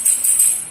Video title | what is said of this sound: STEP BY STEP!! CERITA DIBALIK MESIN ROAD RACE SLEEP ENGINE 4 TAK - JUPITER 130CC TUNE UP MP4 | bunyinya nyaring melengking, pasti pistonnya keras.